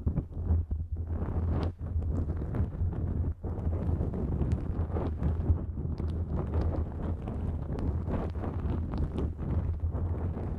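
A thin, flexible pink-and-white nonwoven fabric drawstring pouch stretched over the microphone is scratched with long nails. The result is a continuous, dense rustling scrape dominated by a heavy low rumble, with brief sharper crackles and a few short dips in loudness.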